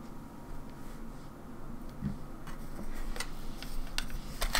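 Long nails tap on the face buttons and shell of a grey, hollow plastic Nintendo 64 controller with coloured buttons, which first rests on a wooden table and is then held in both hands. Short, bright plastic clicks and ticks come at irregular intervals over a low, steady rumble, growing a little louder and more frequent toward the end.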